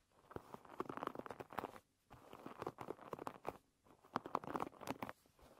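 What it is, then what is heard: Wooden pin bristle hairbrush. Long red nails scratch and flick the wooden pins of a wooden pin-bristle hairbrush lying bristles up. The result is quiet, crisp, rapid clicking and scratchy patter in three bursts separated by short pauses.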